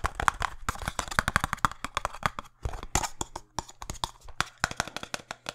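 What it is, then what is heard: Cardboard box tapped. A small printed cardboard box for a speed cube is held in the hands and tapped fast with fingertips and nails. Rapid, dry, clicky taps come in quick bursts with a soft hollow thump underneath, each one ending at once with no ring.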